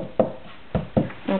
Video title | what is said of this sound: [French] WWE Real Scale Ring | si je cogne mon ciseau avec, ça fait un autre bruit que le plastoc